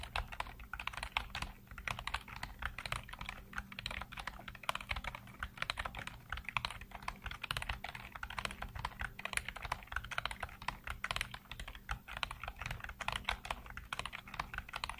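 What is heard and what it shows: Fingertips type continuously on a black plastic computer keyboard with hollow keycaps, producing a steady stream of quick, bright plastic clicks and clacks. Each keystroke dies away almost instantly, over a faint, constant low hum.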